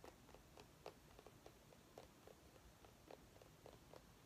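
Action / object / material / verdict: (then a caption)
tap / small pumpkin rind / pumpkin rind / none. A small orange mini pumpkin held in the hands is tapped and scratched with long nails. The quiet, dry, hollow taps are spaced unevenly and ring briefly around 430 Hz over a soft, steady scratching hiss.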